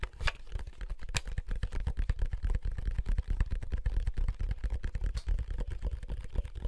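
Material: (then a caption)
Plastic. A wide, black, hollow plastic handheld game console is held in both hands while fingertips and thumbs press its buttons and tap the casing. The result is a steady, irregular stream of short, dull clicks and taps with a deep, thumpy low end and almost no ring.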